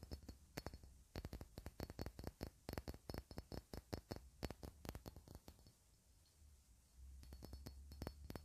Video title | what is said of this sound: [ASMR] tapping on glass items (soft speaking) | The bottom really sounds so clean.